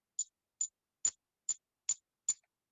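A counterfeit Morgan silver dollar is tapped six times with a paint can opener near the microphone in a ping test. Each tap gives a short, high, thin tick that dies away almost at once. The coin sounds dull and lacks the deeper, resonant ring of a real Morgan dollar, marking it as fake.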